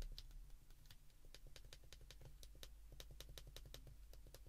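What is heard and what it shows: Thumbs repeatedly press the number keys of a handheld white plastic flip phone. The result is a quick, uneven run of small, bright plastic clicks that die away almost at once, over a steady low hum.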